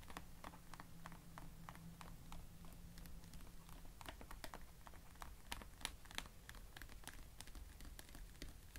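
Fingertips and nails tap and scratch along the side edges of a medium, hollow blue plastic carry case lying flat. Quick, irregular, bright clicks and light scratching sound over a quiet, steady low hum. Each tap is short and dry, with almost no ring.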